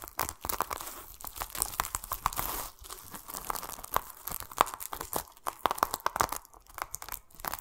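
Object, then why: Whole pomelo in plastic mesh netting. A large, solid whole pomelo sits in a plastic mesh net held in the hands, and fingertips scratch and rub the netting against the rind. The result is a dense, steady run of crinkly, tearing scrapes broken by quick, sharp clicks and bright rasps, with a faint pitched squeak that recurs throughout. The sound is close and quiet, with almost no low end and no ring after each scrape.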